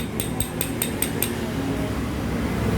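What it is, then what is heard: Loose connecting rod big-end bearing. A steel connecting rod in the split-open engine of a Honda Impresa motorcycle is tapped five times in quick succession, giving short, bright metallic clinks over a steady low background hum. The rod has a very large gap and is loose even without tapping, with play in the big-end bearing. The bearing is faulty, and the parts are replaced.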